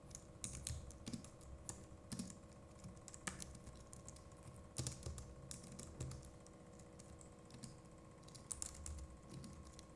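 Fingertips of both hands type rapidly on a compact Logitech MX Keys Mini keyboard with plastic keycaps. The result is a quiet, steady stream of short, bright plastic clicks that stop dead, with a few louder bursts, over a faint low hum and steady background tones.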